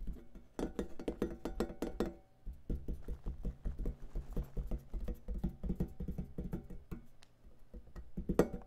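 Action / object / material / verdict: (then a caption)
tap / metal lid of a rack-mount audio compressor / sheet metal / none. Fingertips tap rapidly on the black metal top lid of a long rack-mount audio compressor with a silver front panel and knobs, which is lying on a cloth. The taps are quick, dull, low knocks that die away almost at once. The tapping pauses briefly twice, and one louder tap comes near the end.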